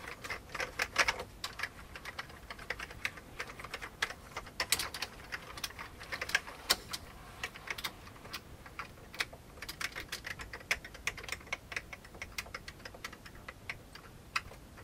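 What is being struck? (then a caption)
Plastic computer keyboard. Fingertips of both hands type on the keycaps of a full-size old beige plastic computer keyboard with a hollow plastic case. A steady, irregular stream of sharp, bright clicks and clacks rises and falls in intensity, each keystroke dying away almost instantly with very little low-end weight.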